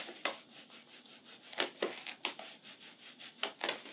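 Hands with long purple nails press, pat and rub a large, flat, Hello Kitty-shaped handmade paper blind bag with a glossy surface, filled with small paper packets and lying on a tan surface. Soft, bright paper crinkling runs throughout, broken by sharper crackling pats at irregular intervals. The sound has almost no low end and fades quickly after each pat.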